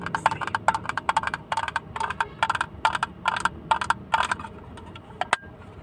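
Fingertips and nails tap a small, hollow, blue plastic hinged case, held open and empty near the mic. Quick bursts of dry, hollow clicks centered around 900 Hz with bright edges come in uneven clusters of roughly 25 taps. Each tap dies away almost instantly, with a single sharp click near the end.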